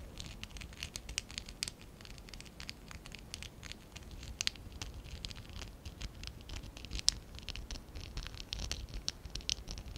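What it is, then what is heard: Plastic Lego bricks being scratched. A small stack of small, hollow pink and dark blue ABS plastic Lego bricks is held in both hands while fingertips and short nails scratch and rub them. The result is a quiet, steady stream of crisp, bright scratching clicks and rustles with a soft low rumble underneath.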